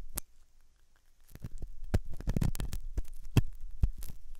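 A metal dental pick scrapes inside the hollow ear canal of a white, soft silicone ear on a binaural microphone. A single sharp click comes first, then a near-silent pause, then a dense, irregular run of muffled, low scratching and thumping. Each contact dies away almost instantly.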